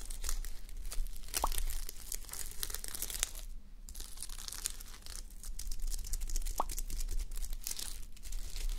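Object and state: Sequin fabric sleep mask.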